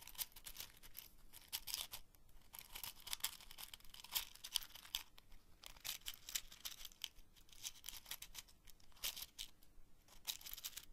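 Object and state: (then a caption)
Cardboard matchbox tray with wooden matches. A small open cardboard matchbox tray full of wooden matches, held in both hands, is scratched and tapped along its edges and contents with long fingernails. The result is a quiet, dense run of bright, dry scratching and crisp clicking bursts with no ring after each touch.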